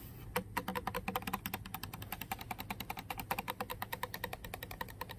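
A full Core water bottle of clear plastic with a label lies on carpet while the long nails of several fingers tap rapidly across its body. Dozens of quick, uneven, clicky ticks sound with a bright, hollow plastic tone and very short ring over a faint low background hum.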